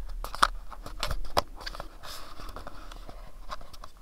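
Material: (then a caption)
Cardboard. Fingertips and nails tap and scratch the faces of a small, hollow, pyramid-shaped printed cardboard box. Quiet, irregular dry taps with sharp clicky attacks and no ring mix with soft, papery scratching and rustling.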